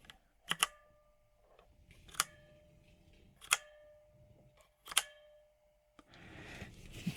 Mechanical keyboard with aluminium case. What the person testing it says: it rings it resonates after each keystroke